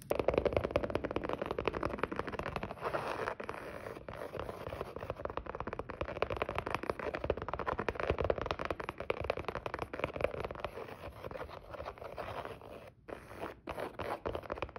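Long nude acrylic nails and fingertips scratch and tap quickly across a flat, dark grey textured leather folder or pouch cover lying on a wooden table. The result is a dense, continuous stream of dry, crackly clicks and scrapes centered in the midrange, with little deep bass or bright top end. Each tap dies away almost instantly, and the activity eases briefly near the end before picking up again.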